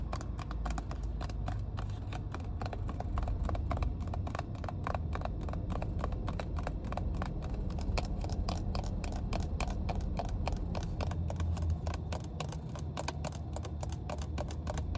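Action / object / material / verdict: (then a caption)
tap / plastic water bottle / plastic / none. A clear PET water bottle, full of water with a plastic cap and paper label, has its cap and body tapped and scratched with long painted nails inside a car. Rapid, crisp clicking taps run throughout over a steady, deep low rumble. The sound stays at an even level for the whole stretch.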